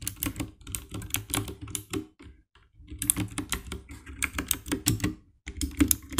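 A compact 60% black plastic mechanical keyboard with RGB backlight is typed on with fingertips, producing a steady run of quick, bright clacking key presses with a low thock under each. The bursts pause briefly around two and a half seconds and again near five and a half, and the hands drop to the lower edge of the keyboard at the end.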